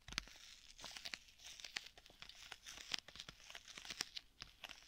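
Fingernails scratch and crinkle along a flat black stitched leather tablet folio case with a strap. The result is a quiet, dry, bright rustling texture broken by a rapid, uneven run of sharp ticks and crackles that stop instantly, with almost no low end.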